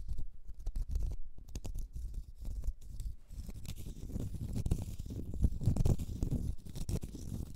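A small, solid, round cork stopper is held in the fingers and scratched with long red nails across its face and side. It makes a soft, low, rumbling scratch of quick, dense strokes with a faint brighter edge, growing a little louder and busier toward the end.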